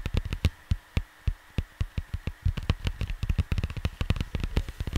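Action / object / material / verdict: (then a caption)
tap / cardboard vinyl record sleeve / cardboard / none. Fingertips tap on a large, flat cardboard vinyl record sleeve while the hands move across the cover. The taps are short, dull, low thumps with quick, dry decay. They start spaced apart, then turn into a faster, denser patter over a faint steady hum.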